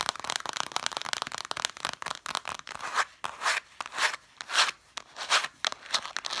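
Long dark nails tap and scratch along the spines of a stack of red cloth-bound hardcover books. A rapid flurry of dry, crisp taps gives way to slower, rhythmic scratching strokes that swell into bright, rasping whooshes. There is no low end, and the texture stays papery and high.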